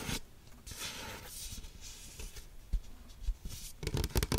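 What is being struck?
Waxed-paper cup with plastic lid.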